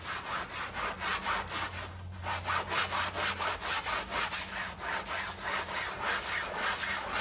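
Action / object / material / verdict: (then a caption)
scrape / fabric doormat scrubbed with a sponge / fabric / none. A gloved hand vigorously rubs a small soapy fabric doormat lying on tiles with a green scrub sponge. The result is a steady run of rasping, bright back-and-forth scrubbing strokes, roughly two per second, with a faint low hum underneath.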